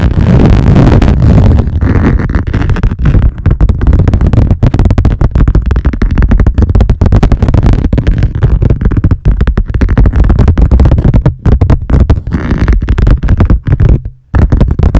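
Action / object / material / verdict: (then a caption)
scrape / laminate lap desk board / laminate / none. Long nails of both hands scratch rapidly across the top of a wood-grain laminate lap desk, a solid flat board. The result is a dense, loud, continuous rasping that is heavy in low thumping tones, with brief dips in the flurry near the end.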